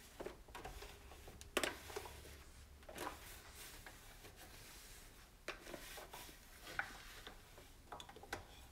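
Fingers and a cloth rub across the plastic knobs and surface of a white plastic stove back panel. Quiet, soft rubbing and swishing is punctuated by scattered light clicks and taps, with occasional brief bright scrapes.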